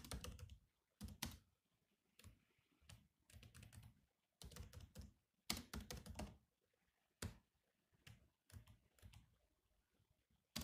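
Slow fingertip typing on the black plastic keys of a grey laptop keyboard. The clicky keystrokes come in short bursts separated by pauses, each with a soft low thump and a bright, quickly fading click.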